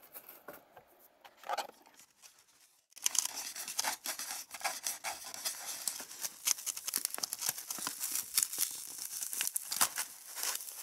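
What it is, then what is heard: Styrofoam egg carton. Long red nails scratch and tap the hollow domed cups of an empty white polystyrene foam egg tray, briefly following some scratching with a stick. After about three quiet seconds of sparse light scrapes, the sound becomes a dense, bright, squeaky scratching with quick dry taps that stop almost instantly.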